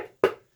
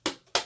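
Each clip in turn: First: A single dull, mid-pitched knock that dies fast: a solid MDF wood board, like rapping on a door. Second: Two quick, bright knocks with a thin clacky tone and almost no ring: a plastic beading board.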